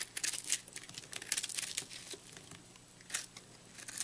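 A utility knife blade slices through a porous, microwaved, puffed purple soap chunk held in hand, cutting into the crumbly, airy soap. Bright, dry crackling and crumbling bursts rise and fall in uneven clusters, with a faint low hum underneath.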